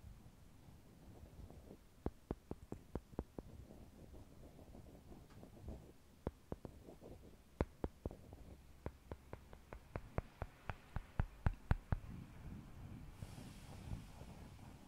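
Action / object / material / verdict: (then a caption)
tap / small wooden blocks / wood / none. Small solid brown wooden cubes are clacked together: one cube is held in the left hand while a second is tapped down onto it with the right-hand fingertips. Roughly two dozen short, dry wood-on-wood clacks come in loose bursts over a quiet, low background rumble, and a faint bright hiss rises near the end.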